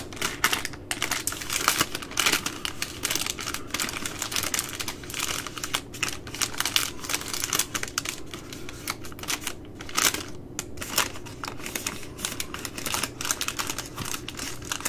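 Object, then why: Baby wipes multipack in plastic film. Long nails tap and scratch the plastic film at the end of a full, plastic-wrapped three-pack of baby wipes. Dense, rapid clicking and scratchy crinkling run throughout, bright and crisp with very little low end, each tap dying away almost instantly.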